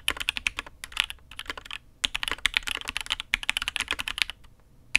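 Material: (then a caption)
ABS plastic. A custom Matrix 8xv 2.0 Add X'mas mechanical keyboard with an aluminium case, INK Black, and red and grey ABS keycaps is typed on with the fingertips of both hands. A steady run of crisp, bright clacks sounds with short pauses between bursts, each keystroke dying away almost instantly with very little low end.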